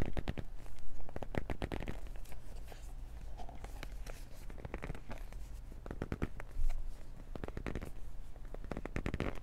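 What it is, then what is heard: Cardboard box scratched with nails. A small, hollow, black printed cardboard retail box for Beats earbuds is held in both hands and gripped and scratched with long nails and fingertips. Dense bursts of dry, crackly scratching and tapping rustle over a steady low rumble, with louder clusters near the start, middle and end.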